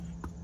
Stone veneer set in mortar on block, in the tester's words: the stones are on Rock Solid you know and then when you knock on them there's no Hollow sound